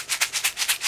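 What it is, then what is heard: Candy packet rattling with loose contents. A Pop Rocks popping candy packet, still unopened, is shaken. It gives a bright, dry, maraca-like rattle in six quick bursts that shows loose candy pieces inside.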